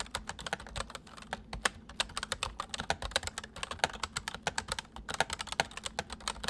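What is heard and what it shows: Both hands type quickly on a full-size white plastic mechanical keyboard with white keycaps resting on a wooden desk, fingertips pressing and tapping the keys. A rapid, uneven stream of short, sharp, bright clicks and clacks sounds, each dying away almost instantly over a faint low background.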